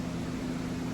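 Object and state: Nothing is struck.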